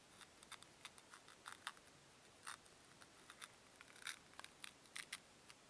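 Fingertips with long nails rub and press two small solid white foam cubes against each other. The result is an irregular series of short, crisp squeaks and crackles, bright and dry with almost no low end, over a faint steady hiss.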